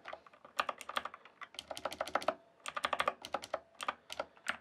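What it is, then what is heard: Plastic mechanical keyboard being typed on. Fingertips type and tap on the keys of a full-size RGB backlit plastic mechanical keyboard with a hollow case. Quick bursts of short, clacky keystrokes sound with brief pauses between them, each a dry, bright click that stops almost instantly with no low thump.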